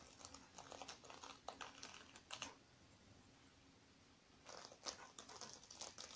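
Fingertips and nails scratch and rub across the sequins of a small, closed, soft black sequin-covered fabric zippered makeup bag held on a wooden table. Bursts of crisp, bright, clicky rasping come and go, with a quiet pause around the middle before the scratching resumes.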